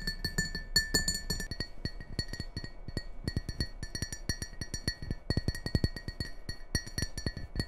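A hollow, nearly empty red and white Christmas ceramic bowl is tapped and scratched on its rim and sides with long painted nails. The result is a quick run of short, dry clicks with a bright ringing tone that fades almost at once, over soft scratching.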